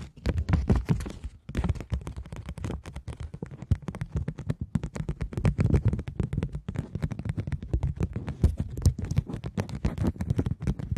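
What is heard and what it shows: A woman with long manicured nails holds a Bank of England £20 polymer banknote, a thin flat plastic sheet, up in both hands, then crinkles it and scratches it with her nails. The result is a dense, continuous stream of quick, close-up crackles and scratches with a heavy low-end thump, broken by a brief pause near the start.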